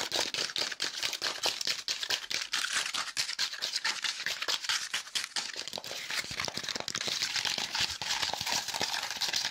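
A small, light piece of folded and layered brown corrugated cardboard with a hollow fluted structure is held in both hands and quickly scratched and crinkled with fingertips and nails. Dense, rapid, irregular scratching and crackling fills the clip, bright and hissy with almost no low end. The level stays fairly steady throughout, with short, dry bursts that barely ring.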